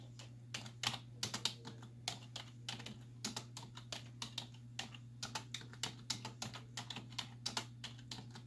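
Both hands with long white nails type with fingertips and nail tips on a black plastic desktop keyboard with hollow keys. Dozens of quick, bright, hollow clicks come in irregular bursts, each dying away almost at once, over a steady low hum.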